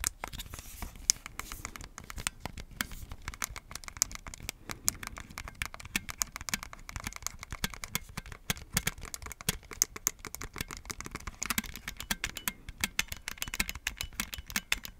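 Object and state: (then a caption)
Plastic game controllers tapped and clicked. Fingertips tap and click the buttons and tap the shells of red and blue plastic Nintendo Switch Joy-Con controllers held in a black plastic grip, hand-sized and hollow. A steady, dense stream of quick, bright plastic clicks and taps is heard, each sharp and dry with almost no ring, over a faint low rumble.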